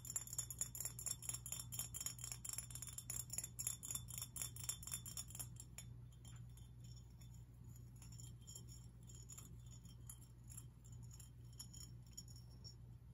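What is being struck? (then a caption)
Glass fish figurine. A glass fish figurine is tapped and scratched, giving bright, rapid clinking, chime-like glass sounds over a steady low hum. The tapping is dense and louder for the first six seconds, then turns into softer, sparser clinks and scratches.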